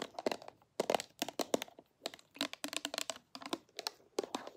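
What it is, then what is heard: Glass perfume bottle. A small, partly filled clear glass perfume bottle with a pink cap and pink label is held sideways and tapped and scratched along its body and cap with long nails. Quick, bright clicks and taps mix with dry, crinkly scratching in uneven bursts. There is no low end, and each tap dies away almost at once.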